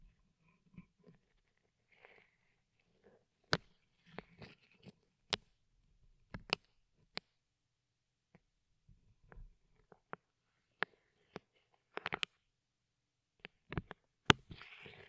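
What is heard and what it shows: A thin wooden skewer held in a gloved hand gently pokes and taps a microphone's round, hollow steel mesh grille, which is wrapped in clear plastic film and blue tape. Sharp, dry, bright clicks and taps come at irregular intervals over quiet, soft crinkly rustling of the plastic, with no ring after each hit. The clip ends in a brief burst of louder rustling.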